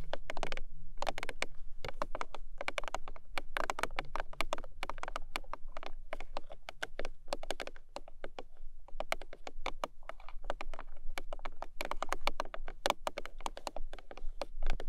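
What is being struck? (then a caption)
Cardboard box. Long nails tap rapidly on the top surface of a long, narrow, hollow printed cardboard gift box. The result is a dense, continuous patter of short, dry clicks, with a steady low hum underneath.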